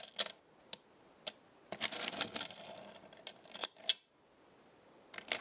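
A chain of small metal stars on a black magnetic star base is lifted and dropped back with fingers and nails. This makes light, bright metallic clinks and clicks, some spaced apart and some in quick clusters. The clinks are short and dry and die away almost instantly, with no low end.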